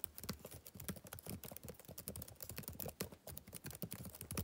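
Fingertips type rapid taps on the plastic keys of a backlit laptop keyboard. The quiet, steady stream of short keystrokes has soft low thuds and bright, crisp clicks, each dying away almost at once.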